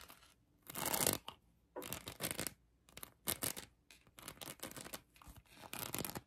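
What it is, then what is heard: Rhinestone-covered plastic heart. Long acrylic nails scratch across a hand-sized plastic heart covered in colored acrylic rhinestones. The result is bursts of bright, dry, gritty scratching separated by short pauses, with the loudest and longest stroke near the start.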